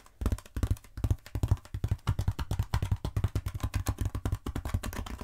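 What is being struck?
Foam roller.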